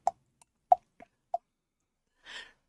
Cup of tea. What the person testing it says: The sloshing around of my tea